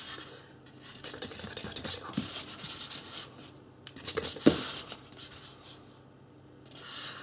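Fingertips scratch and rub the sides and top of a life-size white polystyrene foam mannequin head. The result is a quiet, dry, bright scratching and squeaky rubbing texture in irregular bursts, with one sharper scrape about two-thirds of the way through before it fades to near silence.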